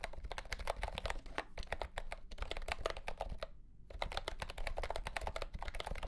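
Fingertips of both hands type quickly on a mint-green retro plastic mechanical keyboard with round plastic keycaps in a hollow plastic case. The rapid, dry clacks have a hollow low thump and a midrange click near 680 Hz, and each keystroke dies away almost instantly. The typing runs steadily with a brief pause just past halfway, then resumes.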